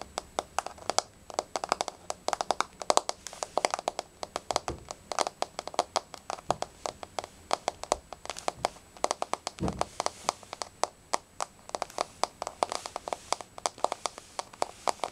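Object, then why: Wood-look laminate floor tapped with fingernails. Long nails tap rapidly and unevenly across a flat, solid wood-look laminate floor with a wood-grain surface. Each tap is a sharp, dry click centered in the midrange around 630 Hz, with a faint bright edge, almost no low end, and virtually no ring, so the taps stay crisp and separate in a near-continuous patter.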